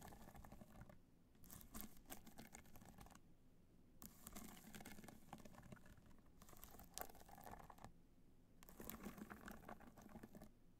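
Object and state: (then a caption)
Rhinestone-covered hard-shell clutch. Long nails rapidly tap the top of a hollow black hard-shell clutch covered in multicolor rhinestones, resting on white fur. Soft, bright clicking and pattering comes in bursts of several seconds separated by short pauses, with a faint hollow knock underneath.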